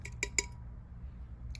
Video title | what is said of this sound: We are Extremely Very Good Recyclers - Tree Counter Activity | different kind of material it sounds different when we tap it doesn't it